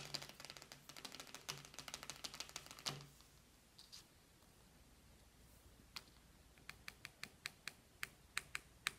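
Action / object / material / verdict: tap / cardboard eyeshadow palette lid / paperboard / none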